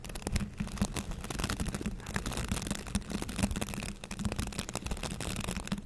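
Fingertips scratch and brush the bristles of a green plastic bristle scrub brush held up close. A dense, continuous crackly rustle runs throughout, with a steady low tone underneath and brief bright flicks from the bristles.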